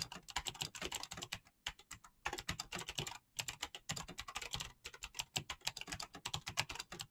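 Fingertips type fast and continuously on an RGB-lit mechanical keyboard with green clicky switches and pastel PBT plastic keycaps. The sound is a dense stream of crisp, bright clicks centered around 2.5 kHz, with a light low thock under each press. The clicks stop almost instantly, and the typing breaks off briefly a few times before resuming.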